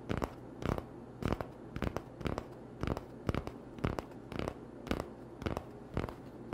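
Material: Cardboard.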